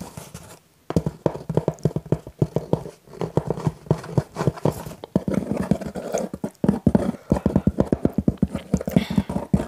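Fingertips and short nails tap and scratch the front panel of a small pink printed cardboard Pizza Hut "My Box" held up in both hands, its contents not visible. Quick, dry, hollow taps follow one another in rapid bursts, with a low body resonance and short scratching passages in between. The clip opens with a brief pause before the steady tapping begins.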